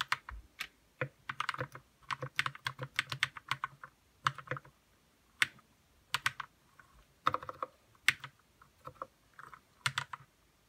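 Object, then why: Plastic mechanical keyboard. Fingertips type on a white RK61 60% mechanical keyboard with plastic keycaps, lubed red switches and a hollow plastic case. Quick bursts of short, bright clacks with a soft low thud under each keystroke come in uneven runs separated by brief pauses, and each click dies away almost instantly.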